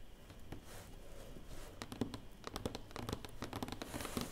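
A busy run of short, crisp nail clicks mixed with softer fingertip pats, each dying away almost instantly. The dull, papery quality is cardboard: a light board over an enclosed space that damps every tap. A small quiet room is faintly heard.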